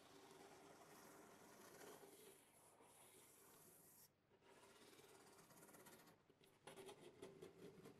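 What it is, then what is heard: Cardboard box being scratched. A hand scratches and rubs the top of a large, closed corrugated cardboard box printed with the RODE logo, which lies flat on a table, using fingertips and nails. The result is a steady, dry, papery rasp with a brief lull around the middle, then louder, quicker scratching at the end.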